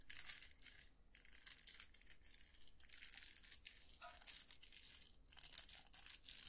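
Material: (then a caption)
Plastic. Fingertips flick and scratch the plastic bristles of a round styling hair brush with a metal barrel. The result is a quiet run of bright, crackly scratching bursts with dense high hiss, quick dry ticks, and little low end.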